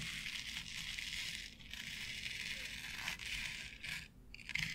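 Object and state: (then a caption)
Artificial grass board scratched with nails. Long nails scratch and tap across a flat board covered with short synthetic artificial grass. A steady, bright rustling scrape dominates, with brief gaps and a few sharper taps near the end.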